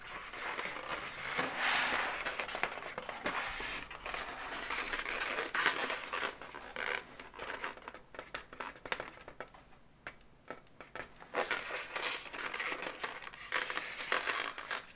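Long nails tap and scratch the segments of an inflated, hollow pink latex balloon dog. The result is a quick, irregular run of dry scratches, squeaky rubs and light taps with a bright, crinkly texture. It has a squeaky tone around 1.5 kHz and almost no low end, with quieter stretches in the middle.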